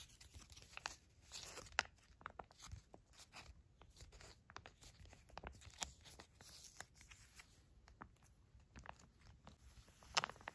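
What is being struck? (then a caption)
Foil-laminated plastic shampoo sachet. A small, full Pantene shampoo sachet made of foil-laminated plastic is held in the hand, crinkled and squeezed, then laid flat and scratched with long matte black nails. The result is quiet, bright crinkling and crackling with sharp, dry transients and tearing-like scratches that stop instantly without ringing, with a few louder crackles near the start and end.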